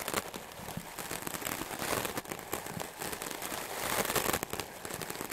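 A solid white melamine foam magic eraser block, held by the fingertips, is brushed fast and aggressively with a wooden clothes brush with stiff dark bristles. The result is a dense, continuous crackling and scratching with bright, hissy texture, rising and falling in loudness with a louder burst near the end.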